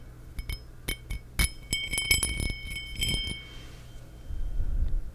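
Long nails tap the faceted surface of a small, empty cut-pattern crystal glass tumbler held near and over a microphone. The taps are bright, glassy clinks with a high ring near 2.2 kHz that fades quickly, over a low rumble that swells toward the end.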